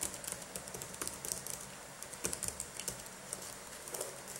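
Latex-gloved fingertips type and tap on the plastic keys of a dirty black laptop keyboard. About nineteen quick, light, bright clicks and taps are heard, each dying away almost at once over a quiet background.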